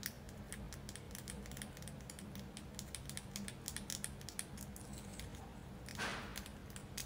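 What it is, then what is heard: Selenite crystal tower, nail taps. Long acrylic nails tap and scratch a solid white tiered selenite crystal tower held in the hands. Rapid, soft, bright clicks sound over a steady low hum, each fading almost at once. Near the end comes a longer, brighter scratching swipe.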